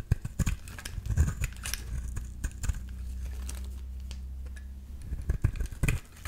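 A metal utility-knife blade scrapes a solid yellow bar of soap held in the hand, producing a series of dry, crinkly scraping strokes with sharp crackles. Through the middle a steady low hum sits under softer scraping before the crisp scrapes return at the end.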